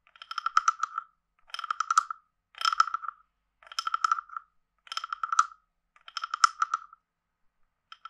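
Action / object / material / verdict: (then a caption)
scrape / carved wooden frog guiro / wood / none. A wooden stick is scraped along the ridged back of a hand-sized, hollow, carved wooden frog guiro held in one hand, and it is also tapped. Six quick ratcheting passes of rapid clicks, with a short fragment at the end, give off a hollow woody croak centered around 1.3 kHz with bright overtones. Each dry, clacking burst stops almost at once, with pauses between passes.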